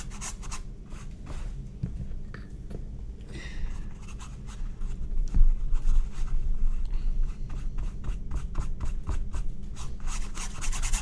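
A paintbrush is brushed and dabbed along the right edge and bottom of the painted surface of a medium, flat, stretched cotton painting canvas on a wooden frame. Soft, dry scratching strokes with bright, short rasps repeat at an uneven pace of about two per second. They sit over a steady low hum that carries most of the energy.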